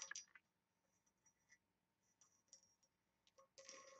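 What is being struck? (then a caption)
Small engraved brass box. Long nails tap and scratch the lid of a small, hollow, oval brass box with embossed engraving, held at different heights. Quiet, bright metallic ticks and short scrapes come in sparse bursts, ending in a longer, steadier scratching.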